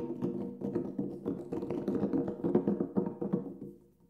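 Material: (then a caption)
Synthetic membrane. Fingertips tap on the black synthetic head of a large, hollow Remo Buffalo frame drum lying flat with its head up. The quick, irregular taps give short, warm, low-mid tonal thumps with brief ring, overlapping into a soft, resonant patter. The tapping trails off and fades out at the end.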